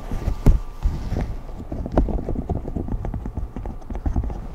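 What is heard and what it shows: A large rainbow silicone pop-it fidget sheet with hollow bubbles is tapped on its edge by fingertips and nails. The result is a quick, uneven run of soft, dull, low thuds with almost no ring, a few landing louder than the rest.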